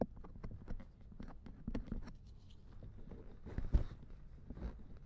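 A thin wooden or bamboo ear pick scrapes the silicone ear of a binaural dummy head microphone lying in a lap. Close, soft scraping and rubbing is heard, with muffled low thumps and brief light ticks as the pick moves around the ear.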